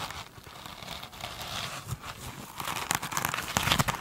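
Long pointed nails of both hands scratch a soft, solid rectangular foam sponge with a glittery woven cover standing on a table. The result is a dry, crinkly, bright scratching texture with little low end. It starts quiet and grows denser and louder, ending in sharper crackling bursts.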